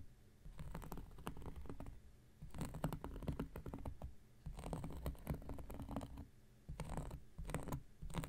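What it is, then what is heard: Cork coaster scratched with a blade. An X-Acto knife blade scratches across a round, flat, solid cork coaster. It makes bursts of dry, rasping scratches, mostly low and muffled with faint bright ticks. Short quiet pauses separate the bursts.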